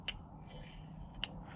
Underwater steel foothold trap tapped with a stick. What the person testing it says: you'll hear 2 clicks. And I feel those 2 clicks, and that's the top of those jaws still closed together